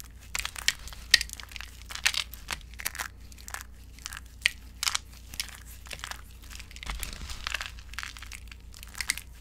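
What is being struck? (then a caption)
Soap shavings in a glass bowl. Both hands press and crush small, brittle flakes of finely broken dry orange soap shavings in a glass bowl. The result is a rapid series of short, dry, bright crunches and crackles. Each burst is crisp and high, dies away almost instantly, and sits over a quiet low hum.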